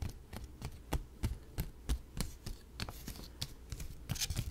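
A single paper dollar bill, held up in both hands close to the microphone, is rubbed, flicked and crinkled by fingertips. This makes a quick, uneven series of sharp, dry crackles and snaps over a low, steady hum. Each snap dies away almost instantly.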